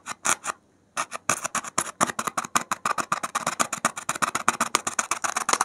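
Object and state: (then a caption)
Polystyrene foam block. A gloved hand rapidly pricks and scratches the surface of a solid white expanded polystyrene (thermocol) foam block with a metal safety pin. About 35 short, dry, bright squeaky scratches come in quick succession, with a brief pause near the start. Each one stops dead with no ring and almost no low end.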